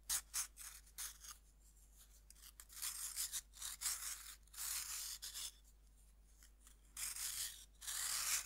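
A serrated metal knife scrapes the flat face of a cut, solid pink pressed-powder bath bomb held in hand over a wooden board. A few short, sharp rasps give way to longer, bright, gritty scraping strokes that start and stop with quiet pauses between them.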